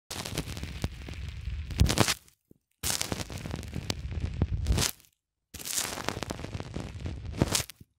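Fingertips press a small black plastic cylinder over and over into a thick white polyethylene foam block resting on a cloth. The foam gives dense, low crackling squeaks and pops in three stretches of about two seconds each, with short silences between them. Each stretch swells into a brighter burst of pops near its end.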